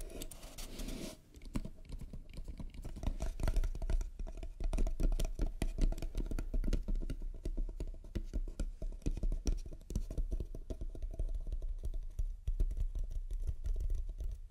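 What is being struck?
Small wooden trinket box.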